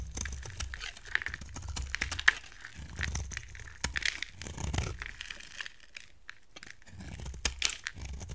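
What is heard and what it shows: A utility knife blade carves a solid, dry white soap bar, now smaller, shaving off dry, crumbly flakes. The cuts make irregular crisp, crackling scrapes and crunches with bright, high edges and a soft low rumble, coming in uneven bursts with brief quieter pauses.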